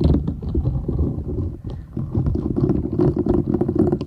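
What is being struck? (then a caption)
Silicone scrubber sponge. A flat, thin, solid purple silicone scrubber sponge with short bristles is held folded in both hands while long nails scratch and rub across it. The result is a dense, low, rumbling scratch with soft rapid textured strokes, which briefly quiets midway before building again.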